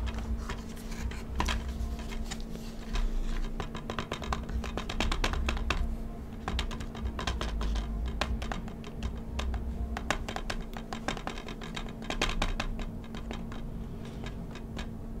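A shrink-wrapped, hollow plastic Call of Duty Black Ops 2 DVD game case is held in both hands while fingertips quickly tap and scratch on its cellophane-wrapped back cover. The result is a continuous stream of rapid, dry clicking taps and crinkly scratching over a steady low hum, lasting about 15 seconds.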